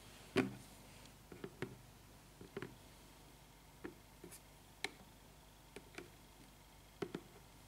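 Fingertips and long nails tap and scratch the top of the lid of a closed, medium-sized black printed cardboard subscription box from Biotyfull, sitting on a table and probably holding products. About ten short, dry, hollow taps come with light scratching between them, each dying away in about a tenth of a second over a quiet background.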